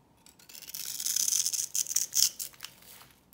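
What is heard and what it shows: A knife blade shaves and scrapes flakes off a solid, rectangular, hand-sized purple soap bar with a textured surface, held in one hand. Dry, crisp scraping and crunching swells into a run of bright, hissy strokes with almost no low end, then tapers to quieter scratches.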